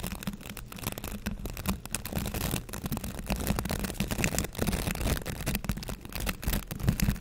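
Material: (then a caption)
Plastic. Fingertips run and scratch across the stiff bristles of a green plastic scrub brush with a handle loop, held close to the camera. The result is a steady, dense scratching and crackling rustle with a strong low rumble underneath, rising and falling in loudness through the clip.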